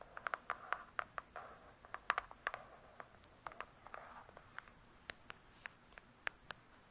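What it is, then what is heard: Hardcover book tapped with fingernails. Long acrylic nails tap and scratch the glossy cover of a thick, solid "True Crime" hardcover book. About two dozen quick, dry clicks with a bright edge come through, with soft scratching swishes between them. Each tap is crisp and dies away almost at once.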